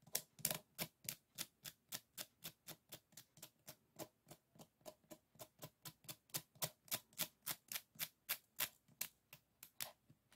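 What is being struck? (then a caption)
Closed folding fan with bamboo ribs. A closed bamboo folding fan with bamboo ribs is played with fingernails that flick and scratch across the rib edges. About 33 sharp, dry clicks come at a steady, brisk pace, each bright and brief with almost no ring and little low end.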